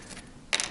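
An original old plastic guitar nut is tapped once to compare its sound with GraphTech TUSQ and brass nuts. The tap is a single short, bright click with most of its energy above 2 kHz, and it dies away almost instantly over a faint background hiss.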